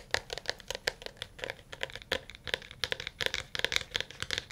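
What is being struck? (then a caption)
Smartphone in a plastic case. A smartphone in a dark blue plastic case, held in both hands, is tapped rapidly with fingernails and fingertips, and the solid case answers each touch. Quick, uneven taps come in a steady stream, each a short, bright click with a hard tone near 2 kHz and higher. Every tap stops dead, with almost no low end.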